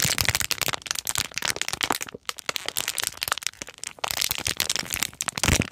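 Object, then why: Foam squishy toy in a crinkly plastic bag. A hand-sized, milk-bottle-shaped foam squishy toy, still sealed in a crinkly clear plastic bag, is held in both hands while long nails and fingers tap and crinkle the packaging. Dense, bright crackling and sharp plastic crinkles run almost continuously, with a brief quieter gap just after two seconds before the crinkling picks back up.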